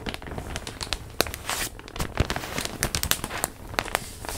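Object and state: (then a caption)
Plastic packaging bag, crinkled. A large printed plastic zip bag holding a stuffed pillow is held against the mic and crinkled and rubbed with hands and nails. Sharp, bright crackles and snaps come in quick irregular bursts over a low rustling bed, with no ringing after each crinkle.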